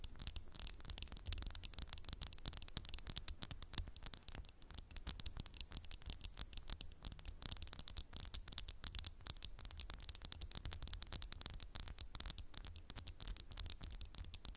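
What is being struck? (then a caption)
Textured glass candle jar. A candle in a textured glass jar is tapped quickly and continuously with fingernails. The sound is a dense run of soft, bright clicks and ticks over a low, steady rumble, and it stays at an even, quiet level throughout.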